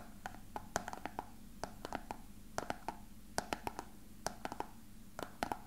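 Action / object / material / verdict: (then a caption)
tap / small plastic box / plastic / none. A small, hollow, frosted translucent plastic box that appears empty is held in both hands and tapped and lightly scratched with fingertips and nails. About 23 quick, dry taps come in irregular clusters, each with a hollow knock near 700 Hz, a bright click on top, and almost no ring. A faint low hum and a soft scratchy hiss sit underneath between the taps.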